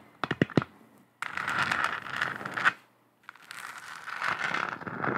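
Long acrylic nails tap a lit, hollow, textured plastic moon lamp with a galaxy print four quick times, then scratch across its globe in two stretches of dry, crackly rasping. A short silence separates the two scratching passes, and each is bright and dense with a midrange hiss.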